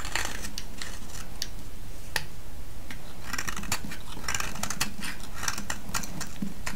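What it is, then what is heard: Soap bar being shaved. A solid green soap bar held in the hand is shaved with a metal blade. Short, crisp scraping strokes with bright crackle repeat over a steady low rumble. The loudness stays even throughout.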